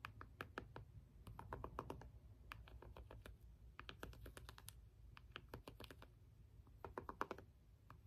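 A small, hollow plastic LED remote has its rubbery buttons pressed and tapped with the end of a small green jade stone roller. Quick, dry clicks come in uneven bursts over a low, steady rumble, each tap ending almost instantly.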